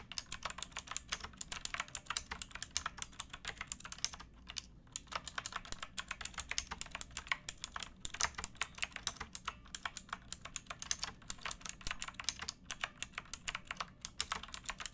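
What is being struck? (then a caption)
Plastic mechanical keyboard. A pink backlit plastic mechanical keyboard with round keycaps and a hollow case, resting on a wooden box, is typed on by fingertips with painted nails. The result is a steady stream of quick, bright, clacky keystrokes with almost no ring, broken by a brief pause just before the five-second mark.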